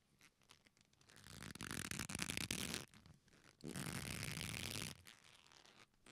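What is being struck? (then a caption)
Thick leather belt with metal buckle. A thick leather belt with a metal buckle hanging down is squeezed, twisted and rubbed with the fingertips of both hands. Soft creaks and scratchy rubbing build into two louder, bright stretches of dense crackling friction with a low undertone, separated by a brief quiet pause, then fade back to faint rustles.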